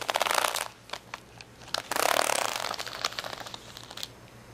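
A plastic acrylic rhinestone sticker sheet resting on a towel has its gem rows scratched and tapped with fingernails. Dense bursts of bright, crackly scratching alternate with sharp, short clicking taps, with no ringing after each hit.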